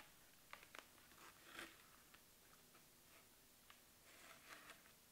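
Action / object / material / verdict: tap / cardboard box tapped and scratched with long nails / cardboard / none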